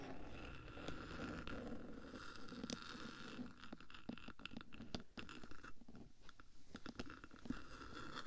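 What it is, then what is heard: Metal microphone case scratched and tapped. Long black nails scratch and tap on the top surface of a bare black metal 3Dio microphone body, near the switches on the hollow box between its ear pieces. Quiet, steady, low-heavy scratching rumbles under a scatter of sharp, short clicking taps that die away almost instantly.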